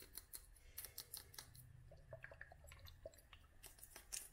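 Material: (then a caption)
Glass. Long nails tap a small clear glass dropper bottle filled with oil and dried flowers, making a run of quick, bright clicks with short glassy pings over a low background rumble.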